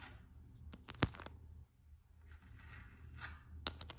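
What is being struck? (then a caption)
Coated canvas strap on a rubber slide sandal. Long acrylic nails scratch and tap the printed coated-canvas strap of an empty Gucci slide sandal with a rubber sole. Soft, dry scratching rasps are broken by sharp, bright clicking taps, the loudest near the start and near the end. A low, quiet hum runs underneath.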